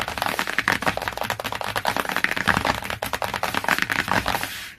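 Long nails tap fast on the glossy laminated cardboard cover of a hardcover book, close up near its edge. The result is a dense stream of sharp, dry clicks with a bright papery tone and very little low end, each tap dying out almost instantly. The tapping stops just before the end, leaving a brief quiet tail.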